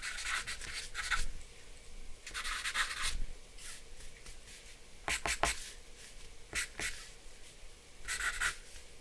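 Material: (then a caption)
Paper. A black charcoal pencil draws scratching strokes around the glasses on a flat sheet of white drawing paper resting on a dark board. Bursts of bright, dry scratching come in short groups separated by brief pauses, over a faint low background hum.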